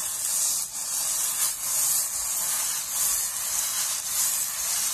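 A hand squeezes, crumples and rubs a round, palm-sized steel wool scouring pad of airy coiled wire against a table surface. The result is a steady, bright, hissing scratch with almost no low end, swelling and dipping slightly as the wire is worked.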